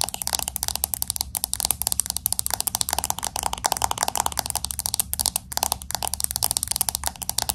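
Long acrylic nails tap fast on the glass back of a pink smartphone with an aluminum frame. The result is a dense run of crisp, bright clicks with almost no ring, over a faint low hum.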